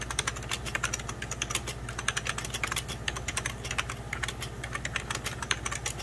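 Both hands type continuously with fingertips and medium-length nails on a hollow, beige plastic 1990s Packard Bell computer keyboard. The rapid, bright, clicky key taps each stop almost at once, over a steady low hum.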